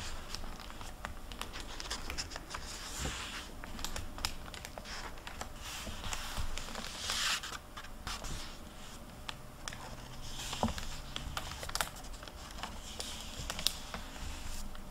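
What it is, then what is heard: Paper hardcover library book. An open hardcover library book lies on a table while a hand flattens its paper pages and turns several of them with fingertips and long nails. Soft papery rustles, light scratches and small taps run throughout, with a brighter crinkly swish of a page turning around the middle.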